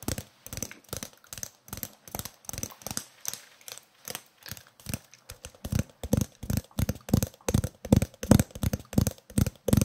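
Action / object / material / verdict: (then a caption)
tap / roll of adhesive tape / plastic tape / none. A green and white roll of adhesive tape with a hollow core is held up and tapped and scratched on its side and edge with fingernails. About forty quick, dull, hollow taps with a low pitch come in an uneven rhythm, each dying out almost at once. The taps grow louder and fuller in the second half.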